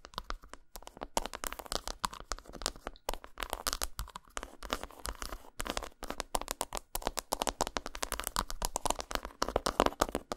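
Long nails rapidly tap and scratch a solid, segmented dark chocolate bar lying flat on a towel. A dense stream of quick, crisp, dry clicks and crackly scratching follows, each sound short with almost no ring.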